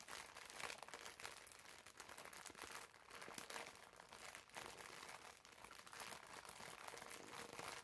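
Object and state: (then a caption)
Plastic-wrapped foam sponge. A green foam bath sponge wrapped in clear plastic film is held in both hands and squeezed with the fingertips. It makes steady, quiet, bright crinkling and crackling throughout, with soft swells in loudness and little low end.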